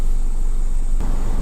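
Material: Nothing is struck.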